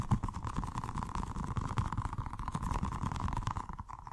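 A small, colorful, squishy stress ball with a rubber skin filled with gel water beads, solid and soft, is held in one hand and rapidly tapped and scratched by fingertips and short nails. The result is a fast, continuous stream of soft, low, muffled thuds and squelchy rubbery scrapes, with a steady mid-range tone underneath.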